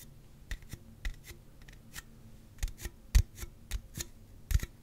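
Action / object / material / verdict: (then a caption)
tap / aluminum drink can / aluminum / none. A slim Celsius aluminum drink can, hollow and possibly full, is held in the hands and tapped and scratched along its side with the fingertips and nails. Short, dull low taps come at an uneven pace, each dying away almost at once, with brief bright scratchy streaks between them over a quiet background.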